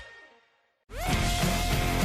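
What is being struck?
Nothing is struck.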